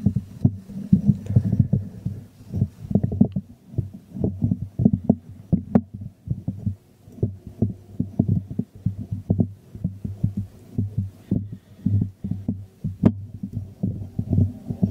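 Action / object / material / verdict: tap / small glazed ceramic jar / ceramic / none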